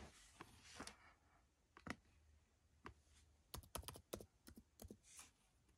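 Fingertips press and tap the plastic keys of a dark plastic laptop resting on carpet. Short, dry clicks come in uneven bursts, with brief bright hissy rustles between them. The sound is quiet and close, and each tap stops almost at once.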